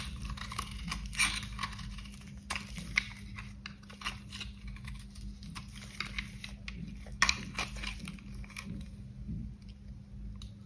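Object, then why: Soap bar. A box cutter blade scrapes and carves the surface of a solid, dry, cream-coloured bar soap with reddish marks, held in gloved hands. A steady run of crisp, bright, crunchy scraping clicks and crumbles plays over a constant low hum, with a few sharper cuts standing out.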